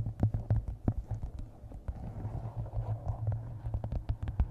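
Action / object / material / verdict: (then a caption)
tap / hardcover book with paper cover / cardboard and paper / none. A map-covered hardcover book resting on a microphone is tapped by fingertips and nails on its top edge and cover. The result is a quick, irregular run of short, dull, bassy knocks, each with a brief bright click, over a steady low hum around 105 Hz.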